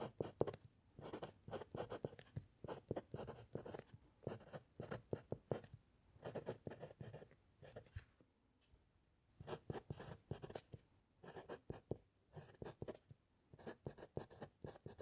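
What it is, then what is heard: Pen nib writing on paper over a wooden clipboard. A metal fountain pen nib scratches across a white paper sheet on a solid wooden clipboard during handwriting. Quiet, dry bursts of short, quick scratching strokes carry a low papery rasp, with a brief pause partway through before the writing resumes.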